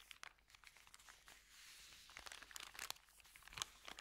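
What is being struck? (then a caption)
Thin paper bag. A flat, empty white Subway paper sandwich bag made of thin paper lies on dark carpet while fingertips press and rub it. Quiet, bright crinkles and crisp crackles come in rapid, uneven bursts with almost no low end, each snapping off dry with no ring. A smoother rustling swell runs through the middle before sharper crackles return.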